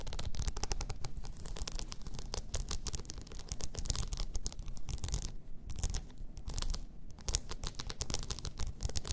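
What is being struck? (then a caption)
Rhinestone-covered tumbler. Long nails scratch across a blue rhinestone-covered tumbler lying on its side, making a dense, continuous run of fast, bright clicky scrapes. A heavy low rumble sits underneath, and the texture stays steady throughout, thinning briefly around the middle.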